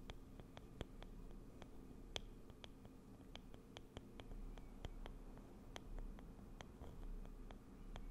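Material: Wood.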